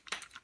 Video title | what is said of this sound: Logitech G430 Headset Unboxing | this is kind of flimsy to me it sounds plasticky